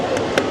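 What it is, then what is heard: Plastic car body trim. A knuckle knocks once on the black plastic exterior trim near the wheel of a Volvo EX90 electric SUV, giving a short, hollow plastic tap with a mid-pitched knock and a brief bright edge. The tap stands just above a steady background hiss and fades quickly.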